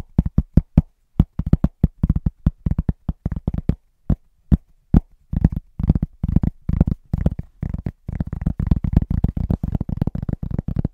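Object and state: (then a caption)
Round cork trivet. Fingertips tap rhythmically on a large, thin, solid round cork trivet close to the mic. The quick, dull, low thumps are dry with almost no ring, pausing briefly before the tapping grows faster and denser toward the end.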